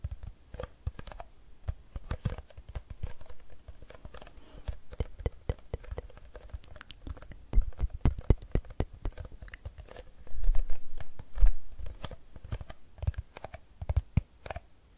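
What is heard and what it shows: Long nails tap quickly along the side of a hollow Fiji plastic water bottle filled with water, giving a dense, uneven patter of short, dull clicks. The taps bunch into louder flurries near the end.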